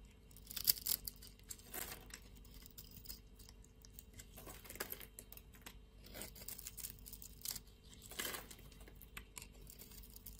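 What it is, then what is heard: Soap bar being scraped. A utility-knife blade scrapes cubes off a solid blue-and-white striped soap bar. The result is a series of quiet, dry, crisp crumbling and scraping bursts with a bright, crackly texture, separated by near-silent pauses over a faint low hum.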